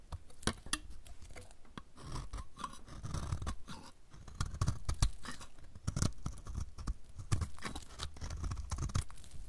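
A solid, dry, light blue oval soap bar with an embossed logo is held in the hand and shaved with a utility knife blade. Quick, crisp scraping and crunching cuts repeat in an irregular rhythm over a soft, low rumble, each stroke dying away almost at once.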